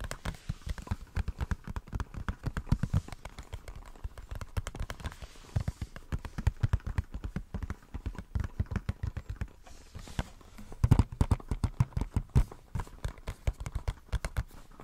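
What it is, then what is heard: Cardboard box. A small, hollow, white printed cardboard product box is held in the hands and tapped and scratched with fingertips and nails. Rapid, irregular streams of dull, low, hollow taps stop short with almost no ring. Brief scratchy rustling sounds are mixed in between the taps.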